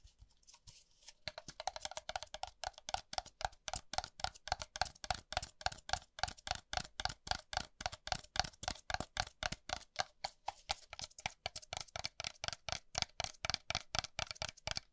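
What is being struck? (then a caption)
Small disposable paper cup. A small, hollow, apparently empty white disposable paper cup is held in one hand and tapped on its side and base by the fingertips and nails of the other hand. Dozens of quick, dry, unevenly spaced taps sound bright and clicky, with a faint hollow tone around 750 Hz. Each tap dies away almost instantly.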